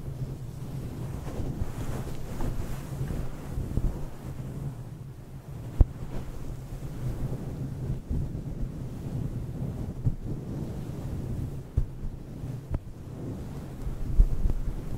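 Fingertips of both hands rub and scratch a fist-sized, fluffy grey-and-white faux fur windscreen covering a hollow microphone head. The result is a dense, muffled, wind-like rumble concentrated in the deep lows, steady throughout with occasional brief thumps.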